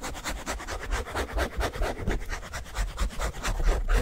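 A rectangular pink foam sponge with a scouring layer, held in both hands, is rubbed and squeezed with the fingertips. The result is a steady run of irregular, rapid scratchy rubbing strokes with a soft low rumble underneath and faint bright crackle.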